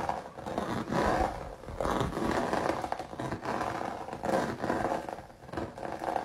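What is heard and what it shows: Fingertips and nails scratch and rub the bumpy surface of a flat canvas covered in thick, crinkled, dried red acrylic paint with raised droplets. The result is a continuous dry, crackly rasping that swells and fades in waves, centered in the midrange with little deep bass.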